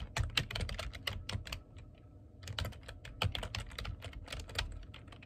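Fingertips type on the keys of a black plastic computer keyboard, making rapid, uneven clicking taps with a low thud under each bright click. The typing eases into a brief quieter stretch around the middle, then resumes in a steady run of clicks until the end.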